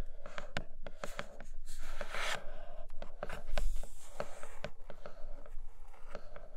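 Long nails tap and scratch on the clear plastic window of a flat grey cardboard box holding a red tablet case. Sharp, crisp clicks come in an irregular run, with a brief, brighter scratching rasp partway through, over a low, steady hum.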